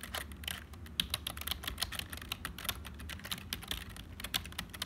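Fingertips of both hands type continuously on a black HP full-size plastic keyboard that sounds hollow. A steady run of quick, bright plastic clicks with very short decay rises and falls in loudness over a faint low rumble.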